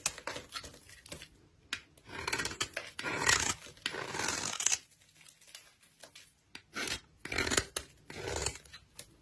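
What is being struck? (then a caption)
Bar of soap. A utility knife blade scrapes the flat face of a solid pale yellow-cream bar of soap held in the hand, shaving off fine powdery flakes. The sound is a series of dry, bright, rasping scrapes in short bursts and longer strokes, with quiet pauses between them.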